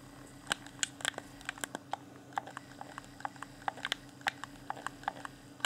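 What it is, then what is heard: Plastic game controller, hollow shell. A fingertip taps and clicks the D-pad and buttons of a hand-sized, hollow, transparent plastic Xbox One Afterglow controller with its pink LED lit. Around 25 short, sharp, separate plastic clicks and taps ring out at irregular intervals, with bright ticking tones around 1.5 kHz, over a faint steady low hum.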